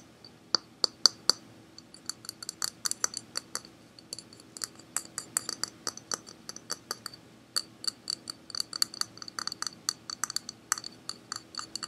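A hard plastic object bought at Target, called a Dipple, is tapped with a rapid, irregular series of dozens of short, dry clicks that stop instantly with no ring. Each tap is bright and high with a glassy tick, over a faint, steady low hum. The object gives a crisp, pleasing tapping sound.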